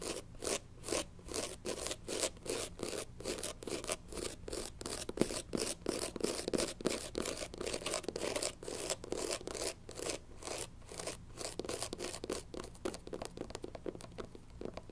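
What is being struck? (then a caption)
Rubber shoe sole. Long pink nails rapidly scratch and tap the tan, textured rubber bottom of a platform sneaker sole held in both hands. The result is a steady run of dozens of dry, short scratchy strokes with a low-mid body and a bright hiss on top, each dying away almost at once. The rhythm shifts between faster and slower passages, and the last few seconds grow softer and duller.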